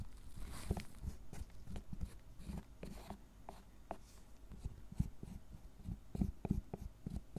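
A gloved hand scrapes and rubs the shaving-covered surface of a solid milk chocolate tablet with a wooden-handled metal carving tool. Soft, low, dry scrapes and short crunchy strokes repeat at an irregular, fairly quick pace. Each stroke dies away almost instantly.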